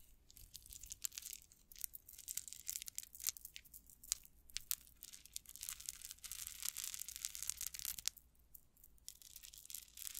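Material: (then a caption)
Metal. A metal rhinestone chain tassel is held up, scratched and shaken with long nails, making its small metal links rattle against each other. The result is a quiet, steady stream of bright, crisp clicks and crinkly rattles, almost all in the high range, with short dense bursts and brief pauses over about ten seconds.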